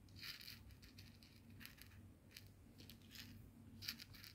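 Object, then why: Coarse salt crystals on a plastic board. A small pile of coarse bath salt grains on a white plastic cutting board is scratched and gathered with fingertips and nails. Quiet, bright, crisp scratching and gritty rustling come in quick bursts over a steady low hum.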